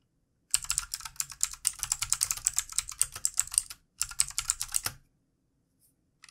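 Both hands type quickly with their fingertips on a full-size backlit plastic mechanical keyboard, with hollow plastic keycaps on a solid body, resting on a desk. A rapid run of bright, crisp key clicks lasts about three seconds, pauses briefly, then continues for another second. It ends in near silence with a few faint taps.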